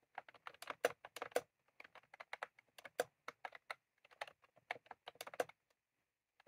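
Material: Plastic.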